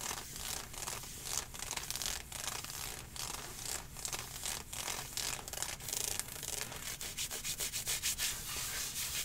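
Long painted nails scratch vigorously over the ribbed panels of dark green nylon/spandex-like athletic leggings worn on the thigh. The result is a bright, rasping rub in quick repeated strokes that speed up and tighten toward the end.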